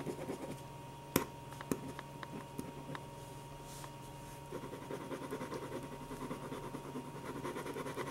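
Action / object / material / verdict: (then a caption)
scrape / ballpoint pen on paper sheets / paper / none. A black ballpoint pen scratches short strokes across a stack of white paper sheets on a table while drawing eyes and eyebrows. Soft, papery scratching runs throughout, broken by several sharp ticks and clicks in the first three seconds. The scratching then grows denser and more continuous from about halfway on, all over a steady low hum.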